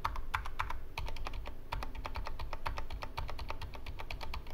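Right-hand fingertips type quickly on the right side of a Corsair K65 Mini 60% mechanical keyboard with plastic keycaps and Cherry MX Red switches, resting on a wooden desk. A steady stream of short, bright plastic clacks rides over a deep low thump from each keystroke. The clicks die away almost at once.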